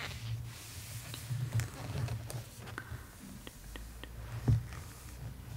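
Long acrylic nails trace, lightly scratch and tap across a glossy, full-page painting spread in a large hardcover copy of *The Art of Spirited Away*. Soft, dry scratching and brief, clicky taps sit over a steady low hum, with the firmest tap landing near the end.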